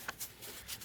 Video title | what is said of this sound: The good, the bad and the ugly of wedding dress quality | if it sounds like plastic it means like it's probably plastic first of all it is plastic